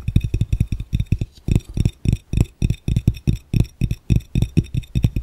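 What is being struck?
Glass fishbowl.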